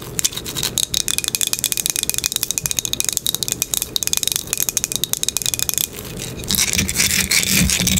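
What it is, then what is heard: Wooden box scratched with nails. Long nails scratch and rub the top and edges of a small flat wooden box with dark corner dots, held or resting on a table. A rapid run of dry, bright clicks and scrapes runs for about six seconds, then gives way to a denser, continuous bright scratching.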